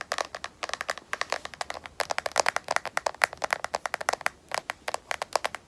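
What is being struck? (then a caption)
Smartphone in rubberized plastic case. A smartphone in a solid black matte rubberized plastic case is tapped and scratched with long nails, giving a quick, uneven run of about forty short, dry clicks. The taps are bright and crisp, with no low end and almost no ring, separated by faint scratchy pauses.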